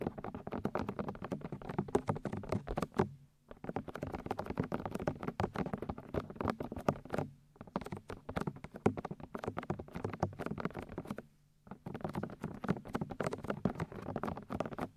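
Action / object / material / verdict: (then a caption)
tap / silicone binaural microphone ear shells / silicone / none. Long white almond-shaped nails and fingertips tap and scratch the hollow, white soft silicone ear shells of a 3Dio binaural microphone. The result is a dense, rapid patter of soft, muffled taps and scrapes, weighted toward low and mid tones with little high content. Brief silent pauses break the patter near 3, 7.5 and 11.5 seconds.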